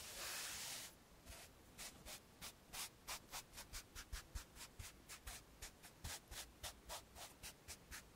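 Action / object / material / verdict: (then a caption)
scrape / felt eraser on a chalkboard in a wooden frame / felt / none. A blue felt eraser, held in fingertips with painted nails, is rubbed across a flat dark chalkboard about A3 size in a light wooden frame lying flat. A loud, steady, bright hiss of rubbing for just under a second gives way to a quick, fairly even run of short, soft swishing strokes that continue to the end.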